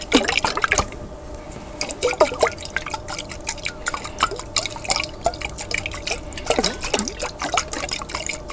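A large lidded clear glass jar, partly filled with water, is tilted and shaken by hand so the water sloshes inside. Bursts of bright, bubbly splashes and gurgles with quick sliding pitches come in clusters, with quieter trickling between them. Each sound dies away almost instantly.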